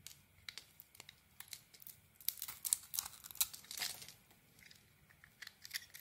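A metal blade shaves thin strips off the white face of a purple-dotted solid bar of soap held in the hand. Quiet, crisp scraping and crinkling strokes come in an irregular run, bright and dry with almost no low end, and a denser, louder burst of shaving in the middle.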